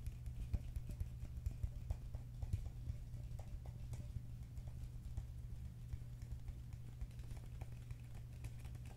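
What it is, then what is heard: Plastic cup tapped with fingertips and nails. A medium, hollow green plastic cup, apparently empty, is held in the hands and tapped with fingertips and nails in a quick, irregular series of short, dull, clicky taps. Each tap dies away almost instantly over a steady low hum.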